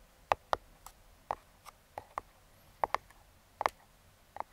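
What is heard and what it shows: Metal claw fingertip picks tap and scratch the top of a small, closed brown kraft cardboard box. The result is a quiet, scattered series of short, dry, papery taps with almost no ring, some landing in quick pairs, with faint scratches in between.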